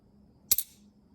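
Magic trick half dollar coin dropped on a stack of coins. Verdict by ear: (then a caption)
Dull. A magic trick half dollar coin is thrown on top of a pile of normal coins, making a short, dead, clicky thud with almost no ring after it. Instead of the ringing sound normal coins make, it gives a dull thud, showing the coin is not normal.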